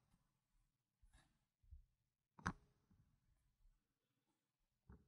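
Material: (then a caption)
Plastic. Fingers with painted nails place solid plastic game chips with red and black rims onto a stack resting on a fabric mat. Soft, quiet clicks and shuffling are heard, with one sharp, bright click midway and another near the end. Each click fades almost instantly.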